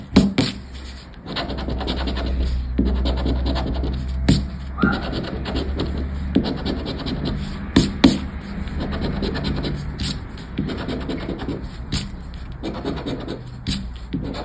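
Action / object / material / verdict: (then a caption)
scrape / paper scratchcard with latex scratch-off coating / paper / none. A thin, flat paper lottery scratchcard ("10 Para Ganhar") with a latex scratch-off coating lies on black cloth, held by fingertips. A round black scraper, likely plastic, is rubbed firmly back and forth over the number fields to scratch off the coating. The result is a continuous, dry, gritty rasping with a low body, broken by brief pauses and sharper scraping accents.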